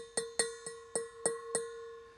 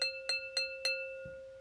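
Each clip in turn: First: metal bowl, metallic ring. Second: ceramic bowl with a high, less tinny ring.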